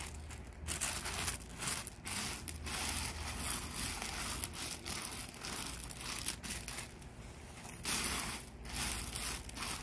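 Gloved hands push and spread loose small tan river-rock gravel landscape rock in a paver-edged bed, rubbing and scraping the pebbles. The result is a steady, gritty crunching and crackling with bright, hissy rattles over a faint low rumble, swelling and easing as each sweep moves the stones.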